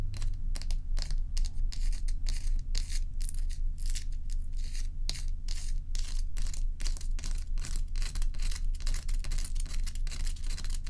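Long acrylic nails scratch and tap the rim and underside edge of a large solid ice block lying on its side on a dark towel. Quick, fairly regular bright scratchy bursts, roughly two per second, sit over a steady low hum around 59 Hz that carries most of the energy. Each scrape and tap dies away almost at once.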